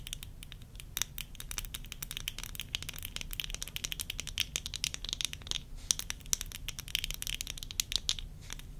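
Long nails tap and scratch the lenses and rims of worn tortoiseshell plastic eyeglass frames. The result is a rapid, uneven stream of sharp, bright clicks that die instantly, mixed with light scratchy rasps, over a steady low rumble.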